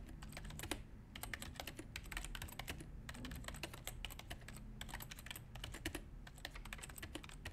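Both hands type continuously with their fingertips on a full-size white plastic Apple keyboard (A1048) resting on a desk. The result is a quick, steady stream of short, bright plastic key clicks that die away almost instantly, over a constant low background rumble.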